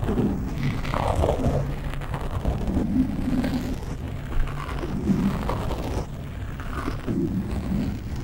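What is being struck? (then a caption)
Foam microphone windscreen. Short nails scratch the top of a black foam windscreen on a microphone, both fast and slow. The result is a continuous, low, rumbling scratch with soft, muffled rustling and almost no high or bright content.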